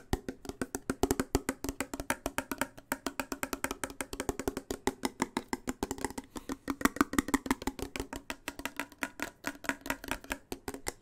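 A sealed, full blue Progresso steel soup can with a paper label is held close to the mic and tapped and scratched with fingernails along its side and rim. It makes a fast, steady stream of short, dry clicks with a hollow, wood-block-like tone around 266 Hz and almost no ring. A faint scratchy texture sits between the taps.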